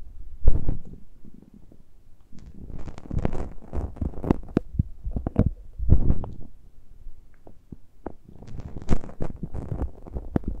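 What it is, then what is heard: Metal mesh microphone grilles scratched directly. Fingertips and nails scratch and touch the uncovered metal mesh grilles of the small X-Y microphone capsules on a handheld Tascam recorder. The result is a close, muffled rumbling dominated by deep low frequencies, broken by bursts of scratchy friction and brief sharp clicks that die away almost instantly.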